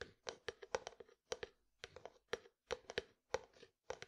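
A white plastic jar is held beside the mic while its lid and side are tapped with fingertips and nails. The result is quick, dry, hollow clicks with a faint resonance around 500 Hz, coming in irregular bursts separated by short pauses. Each tap dies away almost immediately, with little low end.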